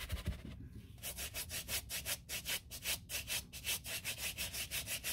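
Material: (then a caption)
Leather. A gloved hand scrubs the upper and side of a white leather sneaker back and forth with a wooden-handled horsehair brush. After a softer, rustling first second, about eighteen quick, evenly paced strokes follow as bright, hissy bristle swishes over a faint low rumble.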